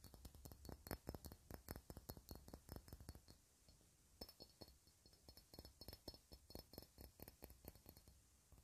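A hand-sized, clear, faceted cut-glass ornament held in the hands is tapped and scratched over its facets with long red nails. The result is a quick, irregular run of short, dry clinks and light scratches with almost no ring, over a low background hum. The clinks ease off briefly around the middle before picking up again.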